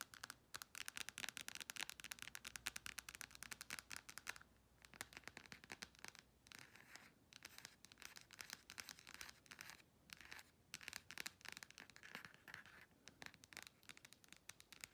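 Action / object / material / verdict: tap / smartphone in a plastic case / plastic / none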